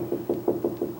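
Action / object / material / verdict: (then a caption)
knock / hollow-core wooden door panel / wood / hollow. Five knocks on a hollow-core wooden door panel next to the stile, where it sounds hollow. Each knock is a short, dull, resonant thud centered around 350 Hz that dies away quickly.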